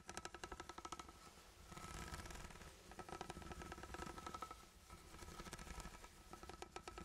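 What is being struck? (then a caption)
Sealed ribbed steel food can. A sealed, ribbed steel food can is held close to the mic and scratched and tapped with the fingertips. Quick, dry tapping clicks with a faint metallic ring around 760 Hz alternate with bursts of bright, rasping scratching over the ribs, under a low rumble.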